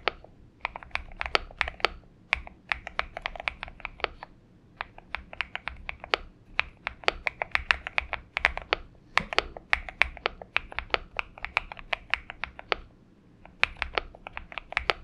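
Fingertip typing with both hands on a purple Xinmeng M71 mechanical keyboard with PBT keycaps. The keystrokes land as a steady stream of short, bright clacks that die away almost instantly, with brief pauses between bursts.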